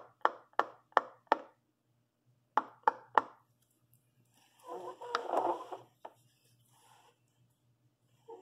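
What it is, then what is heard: Silicone pop-it fidget toy being popped. A purple long nail presses and pops the hollow bubbles of a large rainbow silicone pop-it fidget toy. A run of four short, sharp pops is followed by three more, then a soft rubbing scuff and a couple of final pops.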